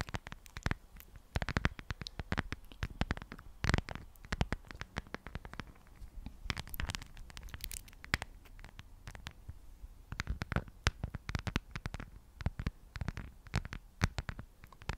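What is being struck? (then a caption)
Thin clear plastic phone case. Long acrylic nails tap and scratch the surface of a thin, hollow, empty, transparent plastic phone case with a white heart print, held in one hand. A dense, irregular stream of sharp, dry clicks and short scratches runs throughout, each dying away almost instantly, with a soft low hollow thump under the bright tips. Quieter scratching fills the gaps between bursts of quick tapping.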